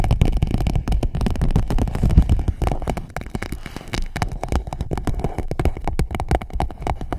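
Long nails tap and scratch an empty clear PVC pouch wrapped around a microphone. The result is a dense, irregular stream of quick crinkly taps and scrapes, with a heavy low-end thump under short crackling clicks that stop almost instantly.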